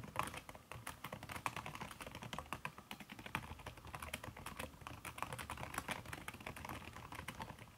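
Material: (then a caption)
Silicone. Fingertips and long red nails type fast on a backlit aluminium laptop keyboard fitted with a red silicone key cover. A dense, steady stream of soft, muted taps carries a mid-range knock with bright, short clicks on top, and each tap dies away almost instantly.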